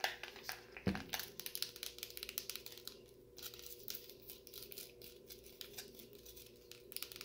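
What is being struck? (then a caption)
Plastic cup filled with frozen cola. Fingertips tap and scratch the upper wall of a clear plastic cup full of frosty brown frozen cola, held in one hand. Quick, irregular, bright clicks and crinkly scratches run throughout, with a louder low thump near the start and a faint steady hum underneath.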